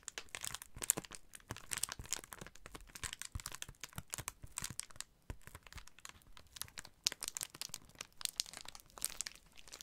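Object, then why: Padded plastic bubble mailer envelope. A large white and blue Amazon Prime padded plastic bubble mailer with contents inside is held up and tapped and scratched with fingertips and short nails. The result is dense, bright crinkling and crackling with many quick, sharp taps throughout.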